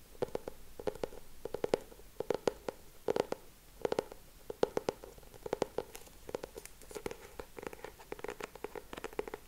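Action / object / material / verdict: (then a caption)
tap / laminated hardcover notebook / laminated board / none. Short nails tap and scratch the laminated cover of a solid lilac hardcover notebook with a raised frame design, held upright. The clip is a quiet series of quick, dry taps in rhythmic bursts, with a hollow mid-range tone around 450 Hz and soft scratching between them. Each tap dies away almost instantly.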